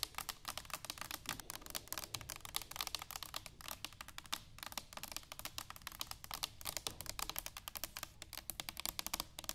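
Long pink nails tap and scratch an upright, hollow, medium-sized brushed stainless steel cylindrical canister standing on a wooden table. A rapid, steady stream of sharp, bright clicks and taps runs throughout, mixed with light scratching, and each hit dies out almost instantly.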